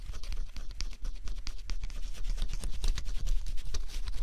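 A thin stylus held by the fingertips scratches the coating off a flat scratch-off cardboard jigsaw puzzle. Quick, irregular strokes make a steady, dry, bright rasping with crisp, short scrapes and no ring, over a faint low rumble.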